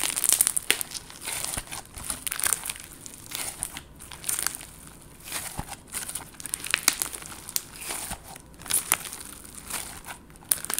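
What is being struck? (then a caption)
Clear slime with confetti sequins. Clear slime with confetti sequins, soft and solid, is squeezed between the hands and stretched out by long gold nails. It makes a dense run of bright, crinkly crackles and sharp little pops that come and go in bursts over a quiet background. There is almost no low end.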